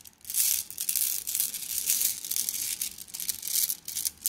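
A plastic mesh bag of flat blue glass gems is squeezed and kneaded by hand, making the gems clink and rub together. The sound is a continuous, dense, bright rattling and crinkling with almost no low end. It rises and falls in soft waves over the few seconds.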